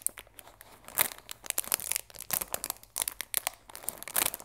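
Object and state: Cellophane-wrapped cardboard tea box.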